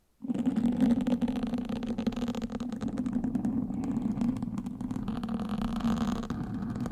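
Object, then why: Foam microphone windscreen scratched with wooden sticks. Wooden sticks held in both hands scratch and prod the sides of a black foam windscreen on a microphone. After a brief silence, a dense, continuous scratchy rumble begins and runs to the end, dominated by a muffled low-mid hum around 230 Hz with rapid crackling textures layered on top.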